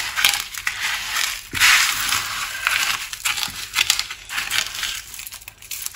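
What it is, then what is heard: Crushed dry soap pieces. Hands press, rub and squeeze a large flat pile of small red, green and cream dry soap shards on a wooden surface, using fingertips and palms. The pieces crunch and crackle in a dense run of bright, high, crisp bursts with no low end, and the loudest squeeze comes near the second mark.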